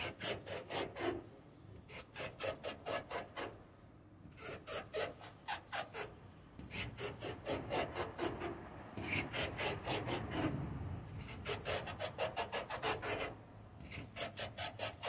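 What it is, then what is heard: Painted wooden door. Short fingernails scratch and tap the white-painted surface of a wooden door, making bursts of quick dry rasping strokes with a few light taps between them.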